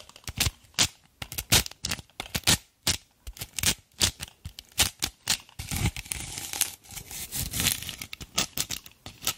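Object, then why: Dried natural loofah sponge. Long black nails scrape and scratch a rough, fibrous, dried natural loofah head mounted on a wooden brush handle. The result is a rapid run of dry, bright, crackly scratching bursts, mostly high-pitched with little low end, each dying away almost instantly. Around the middle, the bursts blur into a longer, denser rasping scrape before breaking up into short scratches again.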